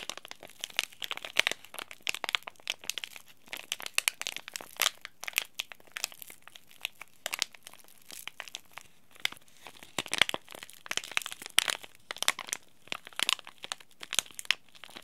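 A small, sealed, green laminated plastic and foil tea bag sachet is squeezed and crinkled between the fingers of both hands. Dense, bright crinkling and sharp crackles run throughout, with almost no low end and quick bursts that stop dead.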